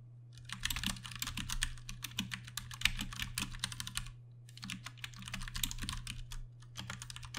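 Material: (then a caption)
Plastic. Both hands type rapidly with fingertips on a Ducky One 2 Mini, a 60% mechanical keyboard with Cherry MX Brown switches and plastic keycaps. Dense, bright, clacky keystrokes come in quick bursts, with a brief pause just after four seconds, over a steady low hum.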